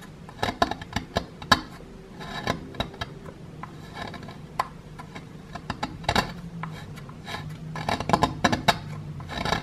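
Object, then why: Plaster block scraped with a wooden stick. The tip of a wooden stick scrapes and picks at a small, solid grey plaster block with a plastic dinosaur skeleton embedded inside. The result is a rapid series of sharp, dry clicks and gritty scratches with brief bright edges, each dying away almost instantly over a low, steady background hum.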